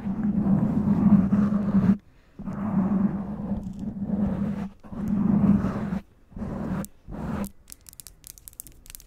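Long acrylic nails on both hands scratch and tap a soft, hollow black foam windscreen on a black microphone. Dense, muffled scratching comes in long bursts with a steady low hum, separated by brief silences. The clip ends with quieter, quick, crisp taps.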